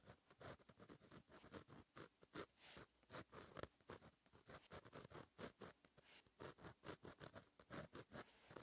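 A fine metal gel pen tip scratches across a flat black lined notebook page while writing cursive. The result is a quiet, continuous run of short, dry scratching strokes with brief pauses between letters. Each stroke carries a bright, papery hiss and almost no ring.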